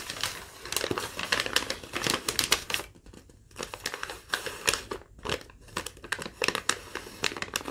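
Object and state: Crumpled thin paper sheet.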